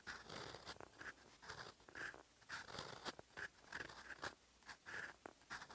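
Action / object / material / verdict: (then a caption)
scrape / metal fountain pen nib on paper / paper / none. A silver metal fountain pen nib writes in olive ink on a flat sheet of lined writing paper, scratching across the surface. Short dry scratchy strokes come in quick bursts, each with a bright rasp and a brief squeaky tone.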